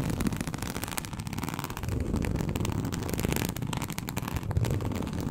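Long acrylic nails scratch a large, flat, teal snakeskin-embossed leather sheet. The result is a dense, continuous rasping crackle with a heavy low rumble and faint bright ticks. The strokes run together at a steady level throughout.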